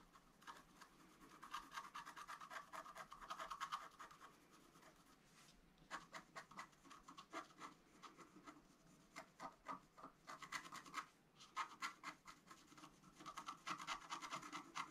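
A wooden stylus scratches the black coating near the right side of a flat scratch-art card of coated paper. Quiet, dry rasping strokes come in irregular bursts, with a papery scrape centered around 1 kHz and a bright hiss above. Short pauses fall between the flurries of scratching.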